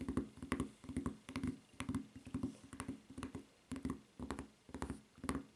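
Long red-painted nails tap and scratch the footbed and strap of a solid white rubber flip-flop with a red rubber strap lying on a table. Quick, uneven bursts of soft, dull, low-mid taps follow one another at a brisk pace, with thin bright scratching flecks on top. The sound is quiet and close, with no ring after each tap.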